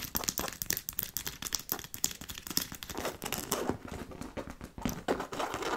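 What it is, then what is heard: Fabric and faux-leather handbag being scratched. Long nails scratch and tap the fabric front of a hollow black logo-fabric handbag with faux-leather straps and silver buckles. Quick, dry taps mix with dense, bright, crinkly scratching that has no ring, and the scratching grows more continuous in the second half.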